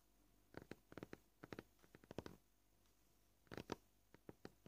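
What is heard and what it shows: Both hands with short painted nails tap a flat, scratched white plastic cutting board, a solid board. The taps are quiet, short and dry clicks at an uneven pace, some single and some in quick clusters, with brief pauses between bursts.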